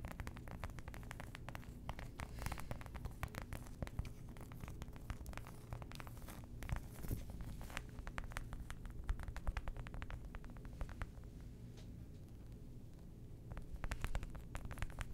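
A flat, thin, solid flower-shaped cork coaster with a dark edge is held up close in one hand and tapped and scratched with long manicured nails. Quick, soft taps and scratchy crackles run steadily throughout, short and dull over a low, muffled rumble.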